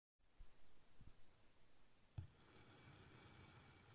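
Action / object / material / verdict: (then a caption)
scrape / block of kinetic sand cut with a knife / kinetic sand / none. A large black kitchen knife slices thin pieces off a small solid rectangular block of pink kinetic sand resting on a white surface, scraping and cutting through the sand. Quiet, soft, low thumps and rustles lead to one sharper cut partway through, followed by a steady, grainy, bright crumbling hiss as the sand peels away.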